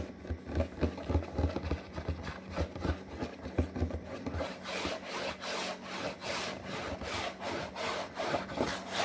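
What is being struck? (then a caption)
Printed paperboard box. Long fingernails scratch and rub across a glossy printed paperboard box for a snack-maker product. Quick, rhythmic rasping strokes have a low thumping undertone at first, then turn into brighter, airier swipes that continue steadily to the end.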